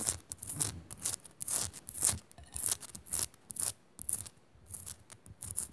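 Long nails scratch rapidly up and down the rough surface of a small, solid pink Himalayan rock-salt crystal lamp. The result is quick bursts of bright, gritty scraping, about two per second in an uneven rhythm, with soft low bumps underneath and brief quiet gaps between strokes.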